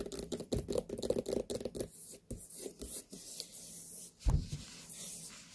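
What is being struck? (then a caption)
Large whole white pumpkin rind. Long nails tap and scratch the rind of a large, whole, hollow white pumpkin. A quick run of dull, hollow taps comes first, followed by softer scraping strokes across the skin and a single louder thump near the end.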